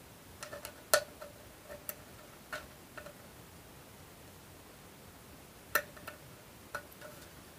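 Long almond-shaped nails tap and scratch the flat lid of a small, hollow, rectangular brushed aluminum tin held in one hand. Light, scattered metallic clicks have a faint ringing tone around 600 Hz and decay almost at once. A long quiet gap falls in the middle, and a steady soft hiss runs underneath.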